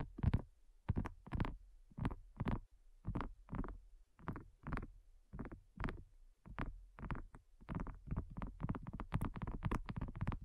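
Long nails tap a flat, round, pink dotted silicone coaster, thin and solid, in a quick, uneven run of soft, dull taps. Each tap is muffled and deep with almost no ring, the strikes sometimes spaced and sometimes bunched close together.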